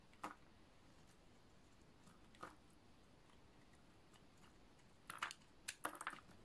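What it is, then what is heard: Dry bar soap, cut and scraped. A utility knife blade shaves and scrapes a solid, dry green oval bar of soap, producing flakes. Short, dry, crunchy scraping bursts with bright edges stand out from a quiet background: two isolated scrapes early on, then a quicker cluster near the end.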